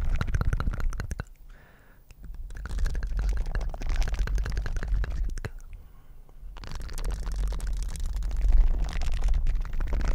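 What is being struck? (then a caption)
Silicone dishwashing gloves with bristle pads. Light blue silicone dishwashing gloves with bristle patches on the palms, worn on both hands, are flexed and rubbed together close to the mic. They make dense, crackly scratching and squelching rubs over a heavy, low rumbling thump, with brief quieter lulls around the second and sixth seconds before the rubbing swells louder again.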